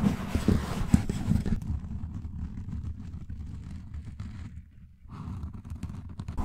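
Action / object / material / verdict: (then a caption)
scrape / foam microphone windscreen / foam / none. Fingertips and short nails scratch and rub a soft, porous black foam windscreen over a large desktop USB microphone, starting slow and getting faster. The sound is a dense, low, muffled rumble of rubbing with a few brighter scratchy bursts near the start, quieting around five seconds before picking up again.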